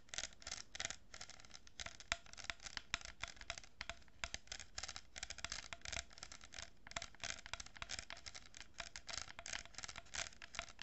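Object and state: Cardboard tube with plastic beads, scratched and tapped.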